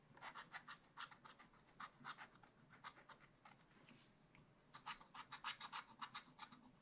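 A thin wooden stylus held in the fingers scratches a thin black-coated card, a page of a spiral-bound scratch-art book lying flat on a table, revealing the colour underneath. Quick, steady scratching strokes make short, bright, dry rasps, thinning to faint scraping midway before resuming in a denser burst.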